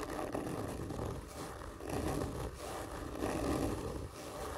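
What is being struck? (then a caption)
Cardboard gift tube. Fingernails of both hands slowly and firmly scratch a large, hollow, black printed cardboard whisky gift tube lying on its side. The result is a continuous, dry, rasping scrape with a hollow low-mid body. It swells and eases in slow waves as the strokes repeat.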